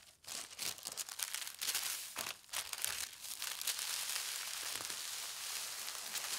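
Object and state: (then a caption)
Tissue paper sheet. A large, thin white tissue paper sheet on a fabric tablecloth has one edge folded over, then flat hands with long red nails smooth and rub across it. The result is a steady, bright crinkling and rustling with soft swishes and brief crisp bursts, and almost nothing in the low end.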